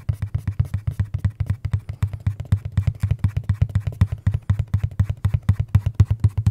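A hollow, dark printed cardboard box is held up close and tapped rapidly with the fingertips. About fifty soft, low, hollow thumps follow in a quick, uneven rhythm of roughly four per second, each dying away almost at once. The sound stays dull and boomy, with almost nothing bright in it.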